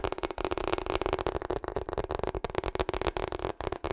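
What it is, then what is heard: Rubber hot water bottle. Long acrylic nails tap fast on a hollow pink/purple ribbed rubber hot water bottle held upright in front of the mic. The result is a dense run of quick, dry clicks over a hollow tone around 350 Hz, each tap dying almost instantly.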